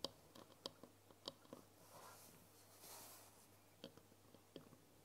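Long nails tap and click on the surface of a tall glass jar with a green lid, full of foil wrappers. Six short, sharp, dry clicks come at uneven intervals, and a soft, bright rustle swells faintly between them. The sound is quiet throughout, with each tap dying away almost instantly.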